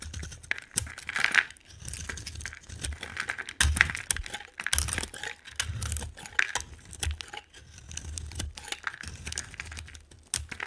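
A solid, dry white soap bar with a pink rim is held in the hand and carved with a metal utility knife blade, sending white flakes flying. Continuous crisp scraping and crackly shaving sounds come in repeated strokes, bright with a dry, short edge centered around 1.9 kHz and with soft low thumps underneath.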